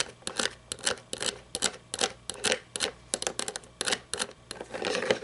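Long nails tap and scratch the painted body of a small red toy monster truck with plastic and chrome parts, lying on its side on a table. A quick, uneven run of bright, clicky taps mixes with brief scratchy strokes, each one dying away almost at once.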